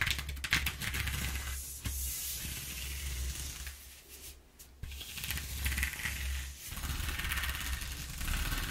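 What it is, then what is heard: Corrugated cardboard sheet. Long nails tap and scratch across the exposed ridges of a flat brown corrugated cardboard sheet lying on a table. The result is a bright, papery scratching hiss broken by light taps, over a steady low hum, with a brief quiet dip near the middle before the scratching picks back up.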